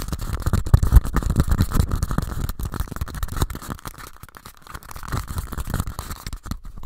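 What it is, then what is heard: Paper cups tapped and scratched. Two identical small, empty pink paper cups are rapidly tapped and scratched with fingers and nails and rubbed together. The result is a dense, irregular stream of soft, dull, low thumps layered with papery scratching and rustling. The sound eases off briefly around the middle of the clip, then picks up again.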